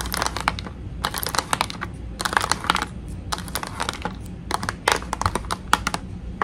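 Long nails tap and rub across the front of a clear plastic blister pack holding a toy tea set from 5 Below. Quick, bright, clicky taps come in bursts separated by short pauses, each tick dying away almost at once over a faint low hum.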